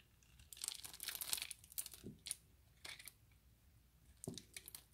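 A hand-sized, solid, translucent orange glycerin soap bar held in the fingers is scraped and shaved into small cubes with the blade of an orange utility knife. The clip is a run of short, bright scraping and crinkly crunching strokes with quick decays and quiet pauses between them.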